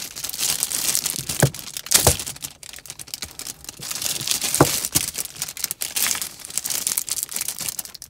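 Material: Plastic film.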